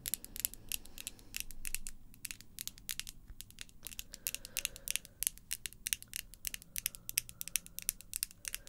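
Long pink acrylic false nails, small solid pieces of hard plastic, are tapped against each other close up in a rapid, uneven rhythm. Each nail-on-nail tap is a sharp, bright click that dies away almost instantly, over a faint low background hum.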